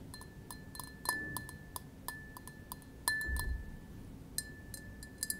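A small, clear, empty double-walled glass tumbler, held in the palm, is tapped with fingertips and nails. About fifteen light, bright clinks each ring briefly at a clear high tone, spaced irregularly over a quiet background.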